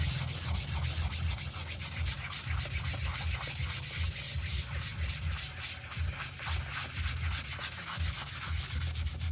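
A stiff-bristle hand brush, held in an orange glove, scrubs back and forth across a grey printed synthetic doormat rug covered in soap foam. A steady, rhythmic rasping of bristles carries bright hiss over a low, rumbling undertone, with each stroke swelling slightly and never quite stopping.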